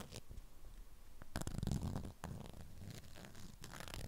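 Long acrylic nails scratch the waxed surface of a strawberry-print beeswax cloth wrapped around a flat rectangular item. The clip holds a steady, low, rough crinkling and rasping with irregular sharp scratchy bursts, swelling louder in the middle before settling back to a continuous scrape.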